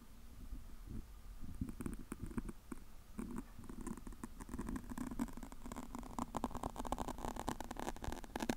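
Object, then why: Foam microphone windscreen. A large, fist-sized black foam windscreen over a microphone is scratched and rubbed with long acrylic nails and the fingertips of both hands. The result is a dense, soft, low crackling and rumbling with many quick scratchy ticks that grow busier and brighter toward the end.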